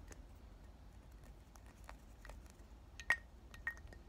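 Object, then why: Glass perfume bottle with liquid. Short black nails tap and clink on the glass body and cap of a round, palm-sized pink glass "Thank U Next" perfume bottle, partly filled with liquid, held and tilted in both hands. Soft, irregular ticks carry a brief glassy ring near 1.9 kHz, with two sharper, brighter clinks near the end over a low, steady hum.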